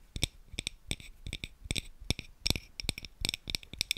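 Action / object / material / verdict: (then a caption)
scrape / frosted glass tealight holder / glass / none. A hollow, palm-sized frosted yellow glass tealight holder is held in both hands while fingertips and nails rub and scratch its surface. The result is a quick, irregular run of short, dry clicks and scrapes with a bright, glassy sparkle on top and a soft low thump beneath each touch. The sounds have almost no ring.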